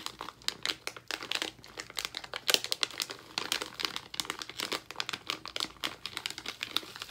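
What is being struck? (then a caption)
Plastic foil candy bag. A small blue plastic foil bag of sour gummies, full of candy, is held in both hands and crinkled and squeezed with fingertips over a marble counter. A steady run of sharp, bright crinkles and crackles comes in quick, uneven bursts, each snapping off almost instantly with almost no low end.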